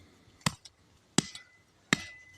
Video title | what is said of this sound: Cin Kavminin Sahiplendiği Define Yeri | vurdukça duyan taş sesi geliyor taş Bir kütle taş var orada sanki